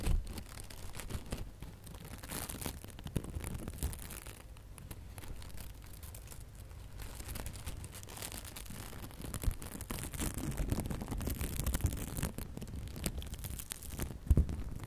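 A small decorative bow of gold metallic and red glitter ribbon is held in both hands while long nails scratch and crinkle its loops. The result is a quiet, continuous stream of dry crinkling and scratchy rustles with a low rumble underneath, rising in a few brighter bursts toward the end.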